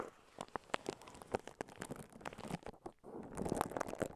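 Fingertips and long nails scratch and crinkle clear plastic cling wrap stretched around a handheld-sized microphone. The result is dense, close-up crackling and rustling with many sharp clicks. A brief quiet dip comes just before the three-second mark, then the crinkling returns more steadily.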